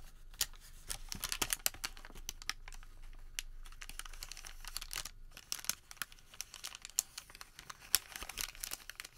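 Fingers unfold, flatten and crinkle a crumpled Home Depot thermal paper receipt. The result is a quiet, steady run of sharp, bright crackles and rustles, with short louder snaps scattered throughout and little low end.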